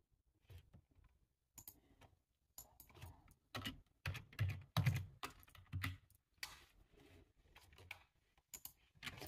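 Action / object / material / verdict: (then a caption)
tap / plastic computer keyboard / plastic / none. Fingertips type on a full-size dark plastic computer keyboard, producing an irregular run of quick key clicks and clatters. Each keystroke has a soft low thump under a brief bright click that dies away almost at once, with short pauses between bursts of typing.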